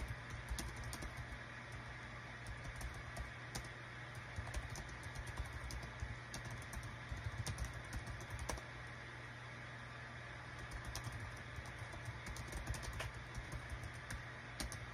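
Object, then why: Small plastic keyboard. Fingertips of both hands type on the small plastic keycaps of a light-green Dong Guan KPH-030 wireless Bluetooth travel keyboard with a built-in touchpad, resting on a desk mat. Rapid, light clicky taps and key presses come in irregular bursts throughout, over a quiet, steady low hum.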